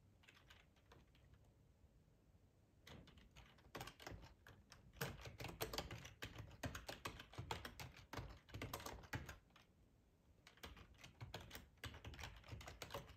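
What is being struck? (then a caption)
Plastic computer keyboard. Fingertips type continuously on a black plastic ergonomic keyboard, tapping its keycaps over the hollow body. Quiet, sparse taps give way to dense bursts of rapid, irregular clicks with a low thump under a bright clack. After a brief lull, the typing picks up again.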